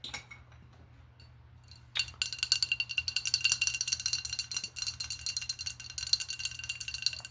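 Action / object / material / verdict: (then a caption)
tap / glass drinking glass / glass / none. Fast, continuous tapping on a glass object begins at about two seconds, after a quiet start with a few faint clicks. The taps produce bright, clinking ticks with almost no ring. They are mostly high-pitched, and they run densely to the end.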